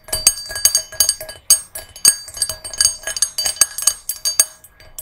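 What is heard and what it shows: Long nails tap the rim and inside of a small, hollow, empty brass singing bowl resting on a red cushion. The result is a quick, uneven series of bright metallic clinks, each with a short ring over faint, steady high tones.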